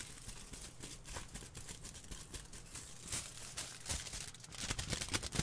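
A large crumpled sheet of thin aluminium foil, held up close to the microphone, is squeezed, crumpled and crinkled by both hands. The result is a dense run of sharp, bright crackles and rustles with some low rumbling handling noise, continuing without pause and building to louder crinkles near the end.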